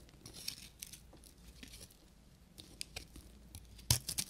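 A solid beige bar of dry soap with a copper crust is carved and scraped with a short metal knife. Quiet, bright, crinkly scraping runs throughout, broken by short crisp crackles as the blade cuts. A few sharper, louder snaps come near the end.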